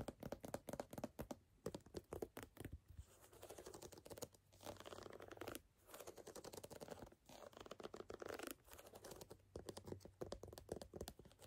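A canvas sneaker is tapped and scratched. Quick, sharp taps in bursts alternate with stretches of soft, dense scratching across the canvas fabric. The sounds are dry and quiet, with almost no ring.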